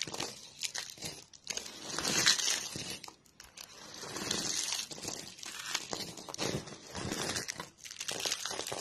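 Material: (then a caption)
Soap. Fingers with purple-painted nails dig into a heap of thin, brittle, dry pink soap shavings and crush them. The result is a steady run of dry, bright crunching and crinkling that rises and falls in bursts over about nine seconds.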